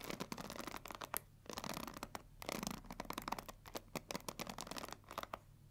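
Long nails scratch and tap the plastic back and edges of a pink plastic paddle hair brush, then scratch across its black pins. The result is a quiet run of dry, bright scratching bursts and sharp clicky taps that stop dead with no ring, over a faint low hum.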